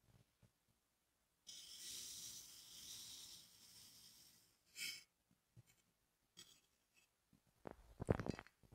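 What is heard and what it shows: A steel kitchen knife presses down into a small, solid, moulded cylinder of green kinetic sand standing on a wooden table, slicing through it repeatedly and leaving vertical cuts. A long, soft, bright grainy hiss comes first, followed by a brief crisp burst and scattered quiet ticks. It ends with louder, crunchy cuts.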